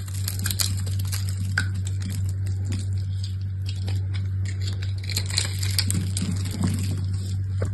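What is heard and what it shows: A small solid purple soap bar with some gold coating left is held in the hand and scraped and carved with a utility knife. Dry crackling scrapes and soft crumbly ticks run continuously over a steady low hum.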